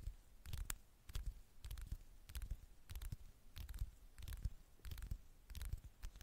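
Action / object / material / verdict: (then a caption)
tap / smartphone glass screen / glass / none. Long fingernails tap and scratch the glossy glass screen of a flat, thin handheld smartphone held screen-up. Quick clusters of short, dry clicks come in uneven bursts, each with a soft low thump under a bright tick that stops at once. Faint scratching fills the quiet gaps between bursts.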